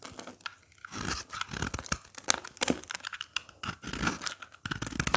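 A craft blade repeatedly scrapes and cuts flakes off the face of a dry, brittle-looking red soap bar with a speckled surface, held in the hand, with the flakes piling up below. Each pass gives a crisp, dry, crunchy scraping and tearing sound with bright high hiss, in quick uneven bursts separated by short pauses.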